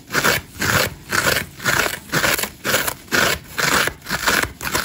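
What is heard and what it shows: A hand-sized dry layered foam massage sponge, green foam with orange and grey scour layers and a solid porous body, is held in one hand while its green foam side is scratched quickly and hard with long acrylic nails. It gives a steady, rhythmic series of rough, crackly scraping bursts, about two per second, each with a bright, hissy texture.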